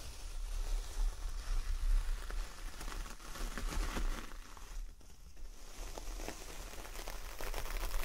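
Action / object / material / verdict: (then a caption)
scrape / coconut coir door mat / coconut fibre / none. Long nails scratch along the coarse fibre surface of a large coconut coir door mat, partly lifted up, making a dry, crackling rustle. Bright scraping strokes come in uneven bursts over a low rumble, dipping quiet midway before picking up again.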